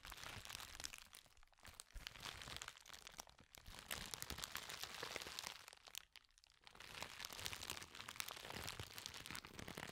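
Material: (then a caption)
Plastic. A sheet of clear plastic bubble wrap, bunched into a wad, is squeezed and crushed by hand close to the microphone. It makes a dense, bright, continuous crinkling with many sharp little cracks and snaps, likely from bubbles giving way. The sound briefly quiets around the sixth second before the crushing picks up again.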